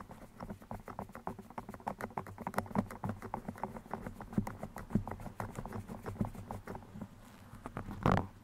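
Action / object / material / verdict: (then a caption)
scrape / foam microphone windscreen scratched with steel pins / foam / none. Steel pins are pushed into and scratched against the sides of a black foam microphone windscreen, making a rapid, dense patter of soft scratchy clicks over a steady low hum. The scratching continues in quick irregular bursts and ends with a louder, brighter rasp near the end.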